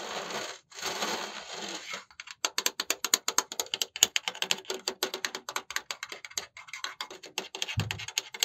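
A black dual-fan laptop cooling pad with a perforated metal mesh surface is held upright and scratched with the fingertips, making about two seconds of bright, hissy scraping in two bursts. It is then tapped rapidly, giving a fast run of dozens of short, dry, bright metallic ticks with almost no ring, and a brief low thump near the end.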